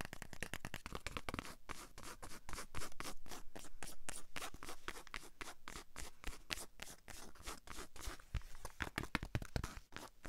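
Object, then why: Cotton baseball cap with plastic sticker. Long acrylic nails rapidly scratch and tap the brim and a holographic sticker on a hollow white cotton baseball cap held in one hand. Dense, irregular clicks and scraping strokes run continuously, each dry and brief with almost no ring.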